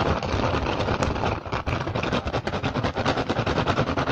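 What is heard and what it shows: Fingertips rapidly scratch and tap the surface of a hollow woven rattan basket with a pink and green weave. The result is a dense, uneven stream of quick dry taps over a continuous scratchy rustle, with little high-end brightness. The level stays fairly steady, dips briefly near the middle, then turns into more distinct fast taps.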